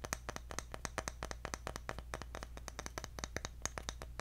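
A round, engraved, palm-sized bamboo jar lid is held up and tapped on its flat top with the fingertips. About 33 quick, dry taps follow one another in an uneven rhythm, each short and bright with almost no ring. A steady low hum sits underneath.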